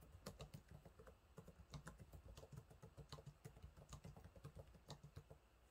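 Fingertips type on the low-profile plastic keys of a silver laptop's keyboard, producing about twenty quick, dry taps in a steady, uneven rhythm. Each click is short with a soft low thud and faint bright clicks on top, fading almost immediately.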